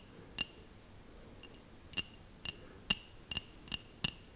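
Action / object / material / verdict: tap / small glass bell ornament / glass / none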